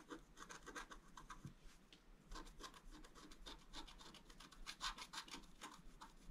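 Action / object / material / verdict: scrape / scratch art paper card scraped with a wooden stylus / paper / none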